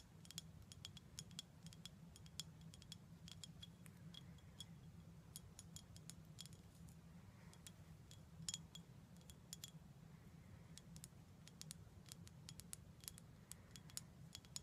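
Fingers tap on a glass bottle of prickly pear cactus syrup in quick, irregular bursts, each tap a short, bright click that dies away almost at once. A steady low hum runs underneath throughout.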